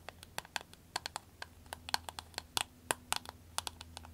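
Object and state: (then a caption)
Vinyl glasses case tapped with nails. Long acrylic nails tap rapidly on a soft green vinyl glasses case resting on a table. About twenty-one short, crisp, bright clicks land in an uneven, quick rhythm with almost no ring. A faint steady low hum sits underneath.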